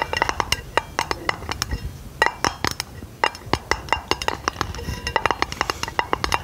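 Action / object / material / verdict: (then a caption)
tap / round thin aluminum lid / aluminum / none. Long nails tap and scratch a flat, round, hollow silver aluminum lid held over the microphone. Dozens of quick, dry, bright clicks with a faint metallic ping around 900 Hz die away almost instantly, spaced irregularly over a soft scratchy hiss.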